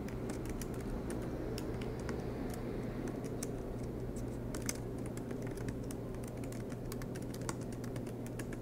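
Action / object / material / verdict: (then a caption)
tap / aluminium laptop keyboard with plastic keys / plastic / none. Both hands type continuously on a silver MacBook Pro, tapping with fingertips on its low-profile black plastic keys set in an aluminium body, with the laptop resting on a desk mat. Quick, light, bright key clicks patter steadily over a constant low hum throughout.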